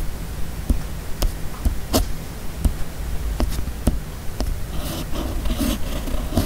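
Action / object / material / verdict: scrape / steel fountain pen nib on a paper sheet / paper / none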